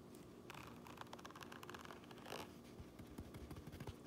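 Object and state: Fabric cap lining scratched.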